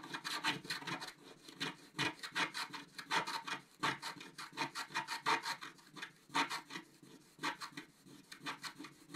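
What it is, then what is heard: Scratch-art paper being scratched. A thin wooden stylus scratches the dark coating off a flat, thin scratch-art sheet of coated paper from a scratch book, about A5 size, held down by one hand on a white table. Continuous short, dry rasping strokes sound in quick, uneven bursts with a bright, papery hiss and almost no low end. Each stroke stops dead with no ring.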